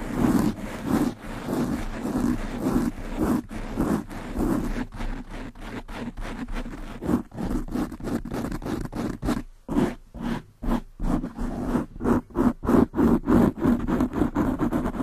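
Two hands with long nails scratch fast at a black foam windscreen on a large black microphone. The result is a dense, rough, muffled scratching with a strong low-mid rumble, broken by short silent gaps that become more frequent and choppy toward the end.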